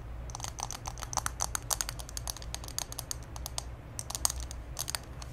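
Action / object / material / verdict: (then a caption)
tap / small glass candle jar filled with wax / glass / none. A small pink glass candle jar full of solid wax is held in both hands and tapped and scratched with long green acrylic nails. Quick, bright clicking taps and light scratches follow one another rapidly over a steady low hum, each tap dying away almost instantly.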